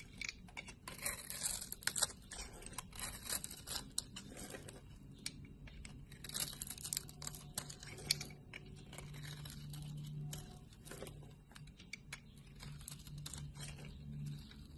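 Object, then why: Bar of soap. A hand-sized solid bar of blue soap, held in the palm, is shaved and scraped with a utility knife blade, curling its surface into ridged strips. The sound is a continuous run of quiet, dry scraping and crisp, crinkly shaving strokes with bright hiss and some low rumble underneath.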